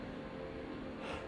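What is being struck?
Nothing is struck.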